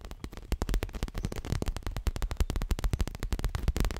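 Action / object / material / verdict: tap / leather-covered stuffed cushion / leather / none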